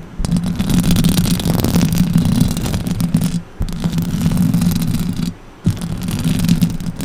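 Long orange acrylic nails scratch the sides of a silver microphone's metal mesh grille in three steady stretches, separated by two short pauses. The close-up scraping is dense and low, with a rough buzzing tone around 184 Hz.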